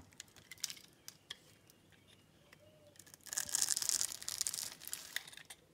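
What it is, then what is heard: Bar soap being cut into cubes. A metal utility-knife blade cuts and scrapes small cubes off a solid light-blue bar of soap, scored in a grid and held in the palm. Scattered crisp, bright ticks and snaps give way to a dense, hissing scrape of crumbling soap. The scrape then thins back into a few sharp clicks.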